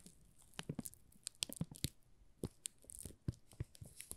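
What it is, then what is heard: Plastic-wrapped soap bar crinkled. Fingertips crinkle and scratch the plastic film wrapped around a solid pink "Rose" soap bar held in both hands. Quiet, dry crackles and sharp ticks come in an irregular series, each with a soft low thump and a bright, crisp edge, and they stop with no ring afterward.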